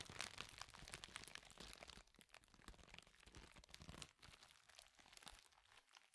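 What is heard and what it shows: A clear plastic bubble wrap sheet, rolled and bunched in both hands, is squeezed, crumpled and twisted with the fingertips, producing dense, bright crinkles and crunches. The crinkling is loudest for the first two seconds, then continues more softly in scattered bursts.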